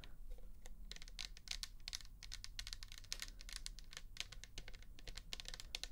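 Long nails tap rapidly on the bare plastic back and side of a pink plastic toner bottle that holds liquid. The result is a quick, uneven run of short, bright clicks with almost no ring, over a steady low rumble.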